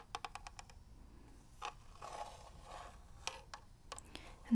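Long nails scratch along the ridged grip and surface of a hollow plastic NES game cartridge held in one hand. A quick run of light, bright ticks gives way to soft rasping scrapes and scattered sharp clicks, ending in a louder knock.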